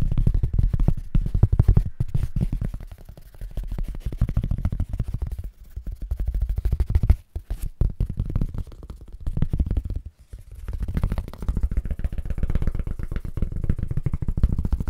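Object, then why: Foam packing sheet. A long, thin white foam packing sheet is held in both hands close to the microphone and bent, tapped and scratched with the fingertips. The result is a dense, rapid stream of soft, dull, low thumping taps and rustling scrapes, broken by brief pauses near 7 and 10 seconds.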